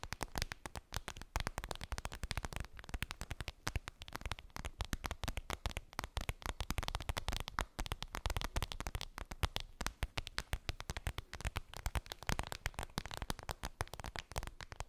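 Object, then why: Clear vinyl (PVC) zippered pouch. Long pink nails tap and scratch rapidly on a flat, clear vinyl PVC makeup pouch with a daisy print and a zipper, lying on fluffy fabric. Many dense, dry clicks and crinkly scrapes overlap with very short ring, with a soft low body and a bright edge.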